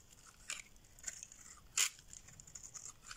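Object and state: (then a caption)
Dry bar soap being shaved. A solid beige rectangular bar of dry soap, held in the hand, is scraped and shaved with a metal blade, sending off flakes and curls. Quiet, bright, dry scratching runs throughout, with a few louder crisp scrapes standing out, the strongest near the middle of the clip.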